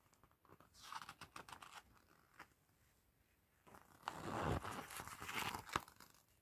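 White-gloved hands turn and lift the coated paper pages of an open softcover exhibition pamphlet. Quiet crinkling, rubbing and flipping come in bursts with brief sharp snaps, then pause. A louder, fuller rustle follows near the end, with a light fabric rustle from the glove.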